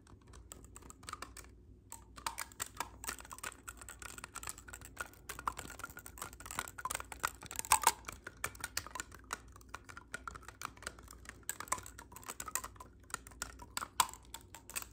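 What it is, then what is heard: Clarinet keys tapped. Fingertips tap and grip the silver metal keys of a black clarinet's hollow tube, close up. A quiet, dense stream of rapid, dry clicks and taps with bright edges, broken by a short pause near the start. A few louder clacks stand out around the middle and near the end.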